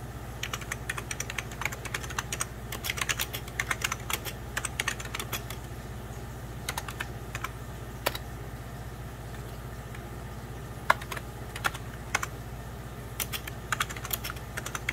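Fingertips of both hands type on a hollow, beige 1990s Packard Bell plastic computer keyboard, producing quick, bright plastic key taps in uneven bursts with short pauses. A steady low hum sits underneath the dry, clicky tapping throughout.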